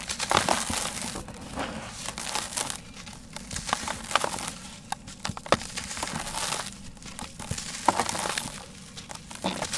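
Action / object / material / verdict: scrape / sand-cement block / sand-cement / none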